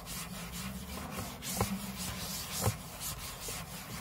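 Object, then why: Aluminium laptop lid. Short fingernails scratch the aluminium lid of a closed space-grey MacBook lying flat on a table, heard close-up as a steady dry rasping with irregular strokes. Two brief, louder scrapes stand out against a low hum underneath.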